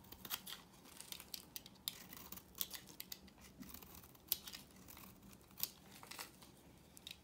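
A knife blade scrapes and carves a solid, pale yellow, rectangular bar of dry soap. The sound is a dense run of short, dry, crisp scratches and crackles, mostly high and bright with little low end, with a few sharper snaps standing out from the quiet scraping.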